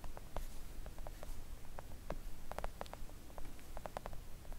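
Long acrylic nails gently tap on a flat pink silicone nail art mat that is thin and solid. A quiet run of soft, quick, dry clicks with short bright ticks rises and falls over a steady low rumble, each tap dying away almost instantly.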